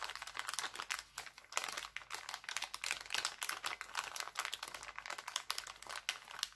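An empty, thin, clear plastic cellophane bag printed with hearts lies flat, then is picked up and crinkled and crumpled by bare fingers with painted nails. The result is a dense, continuous run of sharp, bright crackles and rustling bursts with almost no low end, rising and falling in loudness as the bag is squeezed.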